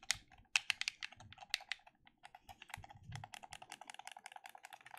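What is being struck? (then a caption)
Plastic game controller. A black plastic gamepad is held in both hands while the thumbs rapidly click its buttons. The result is a quick, uneven run of short, bright plastic clicks and taps, each dying away almost instantly, with little low-end weight.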